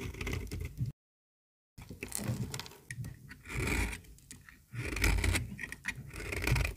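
A small, solid pink bar of very dry toilet soap is held in the hand and shaved with a metal utility-knife blade, with flakes curling off and piling on the table. Dry, scratchy scraping comes in bursts with a low rumble and brighter crackle, broken by a brief silence near the start.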